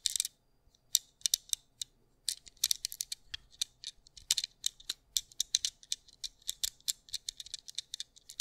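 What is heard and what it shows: A small white plastic anti-stress fidget cube with black dots is held in the fingertips close to the mic while its buttons and switches are clicked and flicked. The result is a quiet, irregular run of sharp, bright, very short plastic clicks and ticks with no low end. Short pauses fall between the clusters of clicks.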